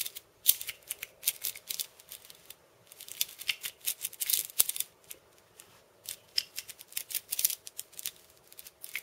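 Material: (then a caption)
Steel. Fingers and nails scratch and tap the steel ball chains wrapped around the hollow wooden cylinder of a steel bead cabasa. The result is quiet, bright, crisp metallic rattling and clicking in clustered bursts, with brief lulls between them. Each tick is short and dry with almost no low end.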